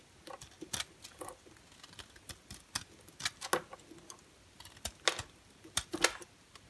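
An orange and white striped bar soap, held in the hand, is carved with a utility knife blade. Short, crisp scraping cuts come in uneven bursts with bright, high crackle and almost no low end. Each shave dies away almost instantly.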